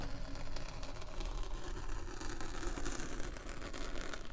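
A metal spiked pinwheel roller is rolled across the top of a solid rectangular slab of purple packed kinetic sand, its spikes pricking and scratching the surface and leaving dotted tracks. The result is a steady, dense, low crunchy rasp with faint rapid ticking throughout, at a fairly even level.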